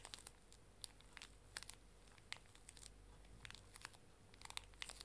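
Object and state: Plastic-wrapped pocket tissue pack being crinkled.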